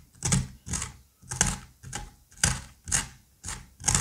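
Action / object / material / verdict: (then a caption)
scrape / pumpkin flesh with seeds / pumpkin / none. A plastic-handled curette scrapes seeds and stringy pulp out of the cavity of a rounded pumpkin half. About eight separate wet, slippery scraping strokes repeat at a steady pace. Each stroke pairs a soft low thud with a bright, hissy rasp, then quickly dies away.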